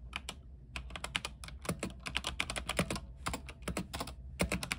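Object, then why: Mechanical keyboard with plastic keycaps on a metal frame. Fingertips type continuously on a backlit mechanical keyboard with white plastic keycaps on an aluminium frame. The result is a quick, steady run of sharp, bright key clicks over a low, thocky body, each stroke dying away almost at once.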